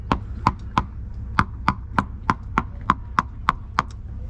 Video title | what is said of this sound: Buying a Wooden Boat - A Few Suggestions | that's the kind of sound you want to hear. A good sharp ringing sound. You do not want to hear a sort of dead sound.